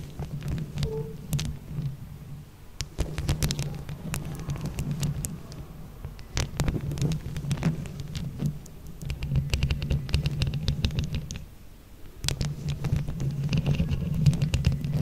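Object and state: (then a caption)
Microphone covered in plastic flower buttons. Long acrylic nails, yellow and leopard print, scratch and tap with both hands over small colorful hollow plastic flower-shaped buttons covering the black mesh grille of a round microphone head. The result is a dense, irregular patter of bright clicks and scratches over a heavy low throbbing rumble, with brief quieter pauses around three and twelve seconds.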